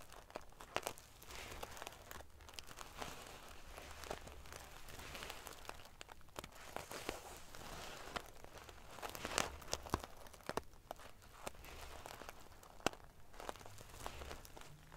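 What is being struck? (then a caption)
Pillow covered in metal sequins. Long dark-painted nails and fingertips scratch and ruffle the rows of small metal pieces on a silver metal sequin-covered pillow. The result is a steady, dense crinkling rustle with many sharp, bright ticks and clicks scattered throughout.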